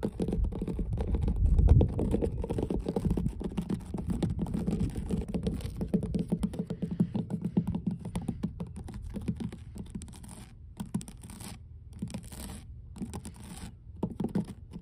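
Long blue nails scratch and tap across large, solid, mossy, weathered wooden dock boards, producing a dense, irregular patter of dull, low, woody knocks and rasps. The sound is loudest and fullest in the first two seconds, then thins into sparser, quieter taps and scrapes with brief gaps toward the end.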